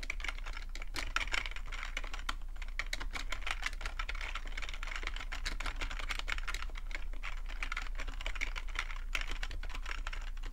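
Fingertips type steadily on a full-size black plastic computer keyboard with a hollow plastic body. Quick, dry key clicks and taps patter continuously over a constant low hum, each click dying away almost instantly.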